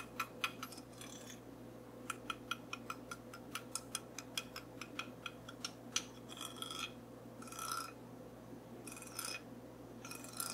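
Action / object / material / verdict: tap / small wooden comb / wood / none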